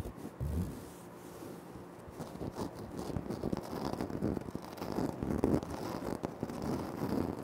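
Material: Granite.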